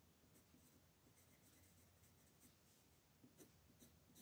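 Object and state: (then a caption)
Pencil coloring on a paper page. A colored pencil makes small coloring strokes on a flat paper page of a Mortal Instruments coloring book lying on a table, with one hand holding the page flat. The sound is a quiet, continuous soft scratching with brief brighter strokes standing out over a low background rumble.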